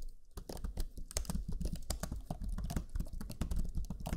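Fingertips of both hands type rapidly on the black chiclet keyboard of a Lenovo Legion 5 laptop, its low-profile plastic keys giving a steady stream of quick, soft key-press taps. Each tap is a short, dull, low-heavy thud that dies away almost at once, with faint brighter clicks on top.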